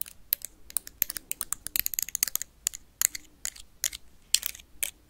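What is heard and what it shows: A blue plastic toy lightsaber is tapped and scratched quickly with paperclips. The result is a dense run of sharp, dry, bright clicks and scrapes in irregular bursts, each dying away almost at once, with almost no low end.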